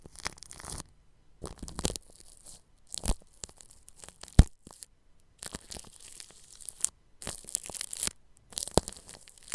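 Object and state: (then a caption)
Plastic cling film over a microphone, brushed. A bristle paintbrush brushes over clear plastic cling film stretched across a round microphone's grille. Irregular bursts of crinkly, crunching, tearing-like rustle with bright hiss and low thumpy rumble come in short strokes separated by near-silent pauses.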